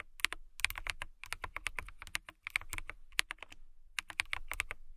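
A clear plastic mechanical keyboard with transparent keycaps is typed on with fingertips and long nails. A quick run of crisp, bright clicks and clacks centred around 2 kHz cuts off sharply with no ring. The typing pauses briefly near 1.2 and 2.4 seconds.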